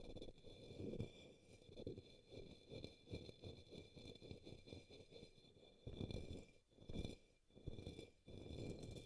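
A brush tip brushes the base of an upside-down, hollow, empty pink opaque plastic cup or small bowl resting on a green towel. It makes a run of soft, scratchy strokes with a dull, low-heavy body that dies away almost instantly. A faint, steady high hiss sits beneath the strokes throughout.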